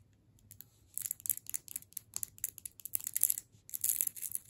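Long nails tap and scratch a solid hard sugar candy cane in clear plastic wrap. After a nearly silent first second, a rapid series of quiet, bright, crinkly clicks and scrapes follows, with no low end and no ring after each touch.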